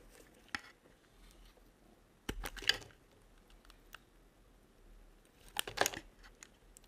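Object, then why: Bar of soap cut with a small metal blade. A small metal blade slices curls from a dry, solid yellow-and-white striped bar of soap held in the hand. It makes crisp, bright cutting and scraping strokes that come in short bursts and clusters, with quiet pauses between them.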